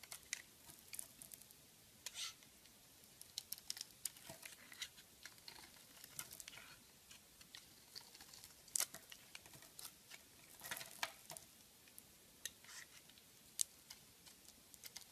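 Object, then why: Bar of soap. A metal blade scrapes and shaves the surface of a solid oval purple soap bar with a white core, held in the palm. Quiet, bright, crisp scratches and short crackling ticks come in an irregular, steady patter, with almost no low end and no ringing after each stroke.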